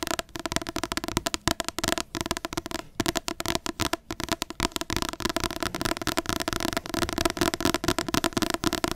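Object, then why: Paperback book with card cover. Long nails tap and scratch the glossy card front cover of a large paperback book in quick, dense bursts. The result is a steady stream of short, dry clicks with bright scratchy texture and a faint papery midrange tone, with almost no ring after each tap.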